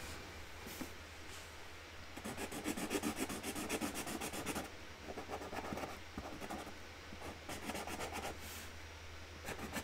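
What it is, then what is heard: Marker rubbing on cardboard. A hand colours the top flower on a flat white cardboard box lid with a pink marker, rubbing the nib back and forth on the cardboard. Quick, dry, scratchy strokes come in bursts of fast rhythmic scribbling, bright and papery, with brief pauses between passes. A steady low hum sits underneath throughout.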